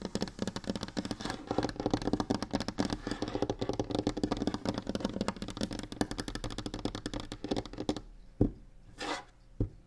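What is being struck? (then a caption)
Varnished wooden tabletop. Long nails rapidly tap and scratch across a large, solid, varnished wooden tabletop, making a dense, continuous clatter of dull, woody clicks for about eight seconds. The sound then thins out to a few isolated, sharper knocks and a brief scrape before ending.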